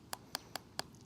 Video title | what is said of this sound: 【衝撃の断面】叩くだけで中身を見抜く。プロが教える「発酵メロン」の原因と見極め方 | जो ध्वनि और कंपन मुझे महसूस होते हैं, उनसे ऐसा लगता है जैसे यह पानी के करीब आ रहा है, ठोस से तरल में बदल रहा है